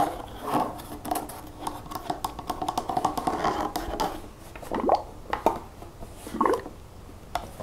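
Long nails scratch and tap the side and back label of a large pink plastic nail polish remover bottle holding liquid as it is held and turned. The result is a quick run of dry, hollow plastic clicks and scratchy rasps, mostly mid-pitched with a few brighter ticks.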